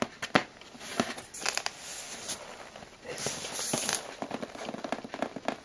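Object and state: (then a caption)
Cardboard box, hollow. Long blue-painted nails tap and scratch across the taped top of a closed, hollow brown cardboard shipping box, sealed with clear packing tape over a torn white label. Quick dry taps with almost no ring mix with bright, crackling scratches and rustles of nails dragging over the tape.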